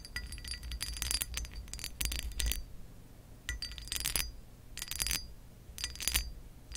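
Acrylic nail tips on curled fingers tap and scratch across a textured pressed-glass lamp base. Quick bursts of bright, glassy clinks and ticks come in clusters with pauses between them. Each tap dies almost at once over a steady low rumble.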